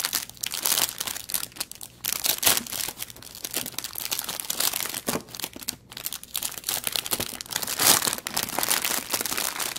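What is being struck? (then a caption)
Thin plastic packaging bag. A thin clear plastic packaging bag holding an artificial aquarium plant lies on a wooden table while fingertips pinch, crinkle and press its end flat. It gives dense, bright, crackling crinkles in quick overlapping bursts that rise and fall in loudness, with almost no low end and each crackle stopping sharply.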